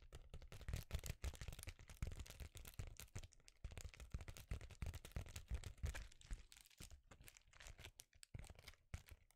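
A notebook-sized, flat, thin metallic foil bubble insulation sheet, silver foil-laminated and crinkly, is held in both hands and crinkled and scratched with the fingers. It gives a quiet, dense stream of crackling, crinkling snaps and scratches with short, dry clicks over a low, soft rumble, thinning out with brief pauses near the end.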